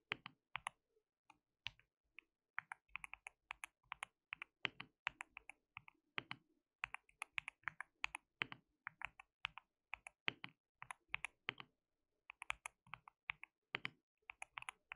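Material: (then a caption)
Plastic. Fingertips of both hands type continuously on a white mechanical keyboard with plastic keycaps, producing rapid, bright, clicky keystrokes with very short decay. Irregular bursts of presses run throughout, with brief pauses between runs.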